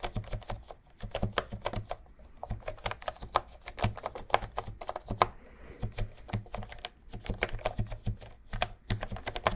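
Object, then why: Plastic keyboard with round keycaps. Fingertips type and tap on the round plastic keycaps of a pink and cream retro plastic keyboard held vertically close to the microphone. The result is a rapid, uneven stream of short, dry clicks with a hollow low thump under each press and brief pauses between bursts.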